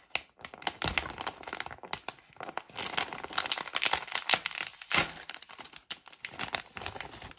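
Long painted nails crinkle and handle a small, flat, printed plastic-foil candy pouch, sealed and filled, held in both hands above a pile of candies. A dense run of quick, bright, crackling crinkles comes in uneven bursts with brief pauses, each snap dying away almost instantly and carrying very little low end.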